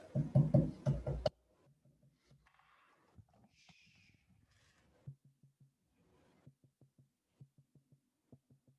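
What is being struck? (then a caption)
Leather-hard clay plate. A leather-hard clay plate is tapped while its foot is trimmed on the potter's wheel. A short burst of low voice is followed by a series of soft, dull, hollow knocks around 140 Hz that die away almost at once. The taps come at an uneven pace over a faint background.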